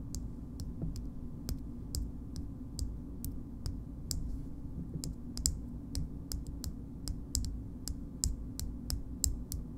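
A small pink frosted glass cream jar with a gold lid is tapped on its side and label with long nails. The result is a steady run of crisp, bright clicks, each dying away almost instantly, over a constant low hum.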